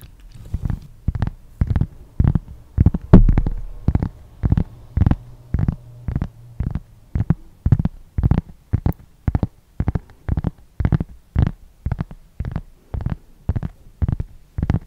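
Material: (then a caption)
Cork. Fingernails and fingertips scratch a large, flat, solid round cork board or coaster held right next to the microphone. Short scratching strokes repeat in a steady rhythm of about two per second, each a muffled, bass-heavy rub with a brief brighter edge. Every stroke fades quickly into near silence before the next.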